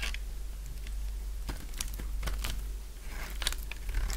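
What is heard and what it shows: A partly carved, purple solid bar of dry soap is shaved with a utility knife blade. A series of short, dry, crisp scraping and crunching strokes sounds over a steady low hum, each stroke flashing bright and fading quickly.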